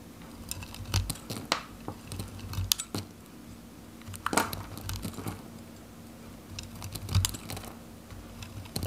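A metal knife cuts a green, varnished, dry Godrej No.1 soap bar held in the hand, slicing the solid bar into small cubes that crumble off. Sharp, dry, crisp cutting snaps and bright crumbly crackles come in irregular bursts over a steady low hum.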